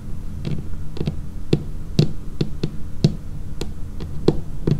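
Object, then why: Laminated wooden tabletop. Long painted fingernails tap along the edge of a dark laminated wooden tabletop, giving a series of short, dull knocks. The taps are low and woody, each with a brief bright click at the onset, over a low background hum, and each decays almost instantly.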